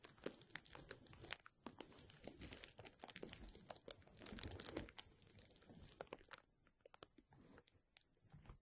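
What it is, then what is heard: Plastic bubble wrap. A rolled tube of clear plastic bubble wrap is rubbed and squeezed by fingertips right over the microphone. It makes dense, bright crinkling and crackling with many sharp snaps and a rustling swell in the middle. The sound thins to sparser, quieter crackles near the end.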